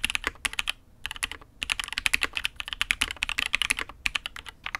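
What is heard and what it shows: A custom Matrix 8xv 2.0 mechanical keyboard with an aluminium case, INK Black, and red and grey ABS keycaps in an "X'mas" set is typed on with the fingertips of both hands. About thirty quick, bright keystroke clacks with almost no ring-out arrive in steady bursts, with two short pauses in the first half. The sound is crisp and high with very little low end.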